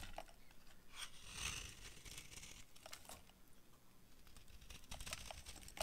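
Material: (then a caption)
Soap. A utility knife blade carves and scrapes crumbly shavings off a solid, hand-sized, cream-yellow bar of dry soap with a dark outer coating, held in one hand. Quiet, dry, crinkly scraping is heard, broken by short, bright, crunchy bursts as the shavings break away, with a swell of brighter scraping early on and a sharper crunch at the very end.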